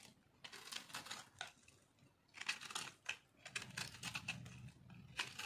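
A hand-sized chunk of solid white dry bar soap, held in one hand over a pile of soap shavings, is scraped and cut with a metal blade. The result is a run of quick, crunchy, bright flaking scrapes with dry clicks and crackles that stop sharply, with a faint low rumble in between.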